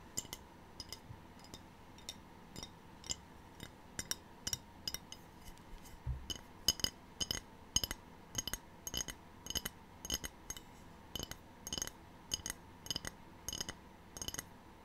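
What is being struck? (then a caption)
Glazed ceramic tray. A small, empty, rectangular white glazed ceramic tray with a black triangle print, held in both hands, is tapped rapidly with the long painted fingernails of both hands. The result is a steady string of bright, high clinks that die away almost instantly, with a faint steady hum underneath.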